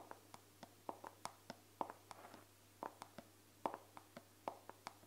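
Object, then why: Plastic body cream bottle. A hand-sized, hollow, dark brown plastic body cream bottle with a white-printed label, apparently at least partly full, is held in one hand and tapped and scratched close up with the fingertips and painted nails of the other hand. About twenty quiet, sharp clicks come at an uneven pace, each with a hollow plastic tone around 900 Hz and almost no ring. Soft scratchy rustles fill some of the gaps.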